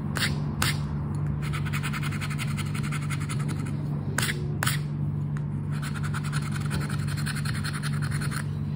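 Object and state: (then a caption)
Paper scratch card being scratched. The coating of a flat paper "10 para ganhar" scratch card is scraped with the edge of a red and gold token, making rapid, dry scratching strokes with bright, raspy bursts. A steady low hum runs underneath the whole time.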